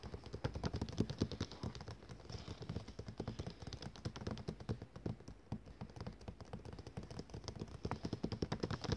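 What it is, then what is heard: Glossy paper catalogue. Fast fingertip and nail tapping by one hand wearing rings on the cover of a thick glossy paper catalogue lying closed and flat on a table, its solid stack of pages under the taps. A rapid, steady patter of short, dull taps with crisp clicks runs throughout, each tap dying away almost at once.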